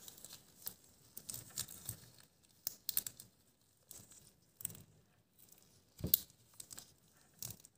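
Thin, stretchy light green latex gloves worn on both hands are clenched, squeezed and rubbed against each other over a wooden table. This makes quiet, bright crinkling and stretching sounds in irregular bursts, with a sharper squeak near the end.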